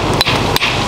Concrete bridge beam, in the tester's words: hit things with hammers to make sure that they're not hollow. That's solid.